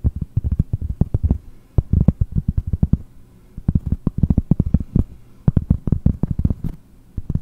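Long fingernails tap rapidly on a large, round, solid cork trivet held in the other hand. Dozens of dull, muffled taps come in uneven bursts, mostly deep, soft thuds with very little ring or brightness.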